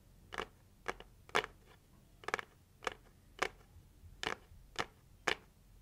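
Long white acrylic nails tap and scratch the closed lid of a hollow red heart-shaped cardboard gift box with a gold swirl print, held against a chest. A series of short, crisp, dry clicks and scratches sounds in a bright, papery register, some landing as quick doubles. Each one stops almost instantly against a quiet background.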